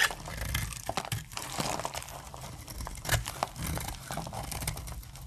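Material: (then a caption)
Soap. A hand-held dry, solid, opaque light brown soap bar has crisp plates carved off one end with a utility-knife blade. Dense, dry crunching and crinkling scrapes run continuously, with a few sharper cracks standing out as plates break away.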